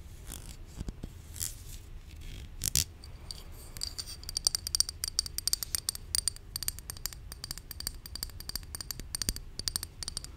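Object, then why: Plastic supplement bottle. Long nails scratch and tap the printed label and body of a hollow white plastic supplement bottle held in hand. The result is a steady run of quick, bright clicks and dry scratches, with a faint high ring over a low, soft background rustle.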